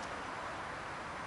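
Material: Nothing is struck.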